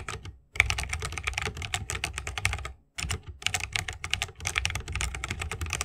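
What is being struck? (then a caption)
Mechanical keyboard with bamboo case and plastic keycaps. A 60% mechanical keyboard with a bamboo wood case, plastic keycaps and tactile switches is typed rapidly with the fingertips of both hands. The dense run of short, bright clicks and clacks carries a low thump underneath, and it breaks off in two brief silent pauses.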